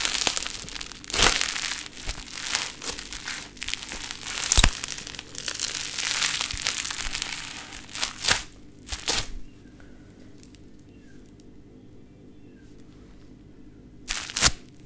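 A sheet of pink play foam, a foam bead modelling clay, is stretched apart and squeezed into clumps by hands with long nails. This makes a dense, bright crackling and crinkling with sharp sticky pops for about nine seconds. It then drops to near silence before one last crunchy burst near the end.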